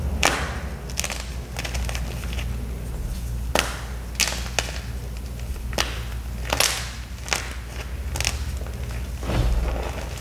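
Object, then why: Gym chalk cube. A small solid gym chalk cube with a black iron oxide coating and crumbled white chalk is crushed in both bare hands over a pile of chalk pieces. Sharp, bright crunching snaps break out at irregular intervals over a continuous dry crumbling texture and a steady low rumble.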